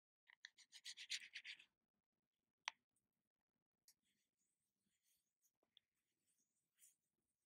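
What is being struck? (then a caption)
Small plastic jar lid. Long nails scratch quickly across the lid of a small, round plastic body butter tub held in the hand, making a fast run of bright, raspy strokes. A single sharp tap follows, then a scattering of soft, quiet taps and clicks on the lid.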